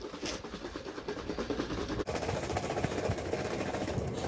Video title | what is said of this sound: Making Butter with Ms. Jennifer | shake it until you stop hearing it slosh around, so you're not going to hear any more noise